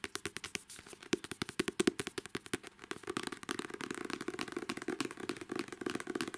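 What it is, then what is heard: Paperback book cover. Long manicured nails tap and scratch the glossy card cover of a paperback novel. Quick, sharp, dry clicks come in separate bursts at first, then blur into a faster, denser patter of tapping and scratching with a light hollow tone and a bright edge. Each tap dies away almost instantly.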